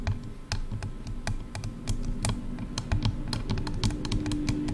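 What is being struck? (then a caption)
Plastic headphone ear cups. Long dark-red nails quickly tap both sides of a pair of silver hollow plastic headphone ear cups. The result is a rapid, irregular stream of short, dry clicks with a hollow low thump beneath each one and a little bright tick on top, over a steady low hum.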